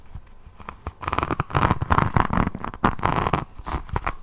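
Long nails scratch over the faceted resin beads of a rhinestone-covered diamond painting notebook held upright. Quiet ticking gives way to dense, crackling scratching bursts with a rough low rumble underneath, rising and falling in short uneven sweeps.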